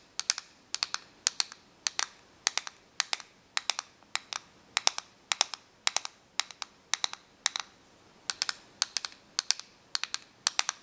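Long nails tap and click on the clear plastic casing of a small plastic correction tape dispenser held in the hands. Short, bright clicks come in quick clusters of two to four, with brief pauses between clusters. Each click stops almost instantly, with no ring.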